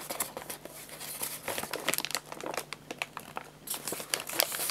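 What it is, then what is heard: Crinkled paper bag. An empty, hollow printed paper guinea pig food bag, with its top folded over, is crinkled and rubbed with fingertips on a lap. Dense, bright crinkling and papery rustles rise and fall in quick, irregular bursts, with a faint steady low hum underneath.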